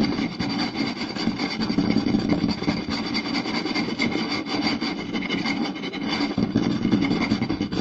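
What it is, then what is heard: Wooden plate tapped and scratched. Two hands quickly tap and scratch the surface of a round, solid wooden plate with a rim groove, lying flat, using fingertips and short nails. The result is a dense, continuous stream of rapid dry taps and scratchy rubbing with a woody midrange body and a bright, rasping top, its loudness swelling and dipping slightly throughout.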